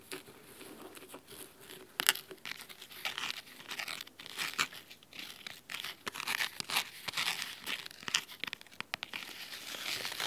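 Fingernails scratch across the cloth top cover and spine of a large red cloth-bound hardcover book. The sound is a run of crisp, dry, bright scratching strokes in irregular bursts, with almost no low end and no ring after each stroke.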